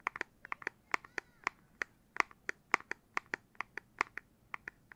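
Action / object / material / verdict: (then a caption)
tap / handheld game console, plastic casing / plastic / none. The plastic back casing of a Nintendo Switch Lite handheld game console is tapped for ASMR. About 22 quick, dry, clicky taps come in an uneven rhythm, each with a bright, hollow mid-to-high tone that dies away almost instantly. The overall level is quiet.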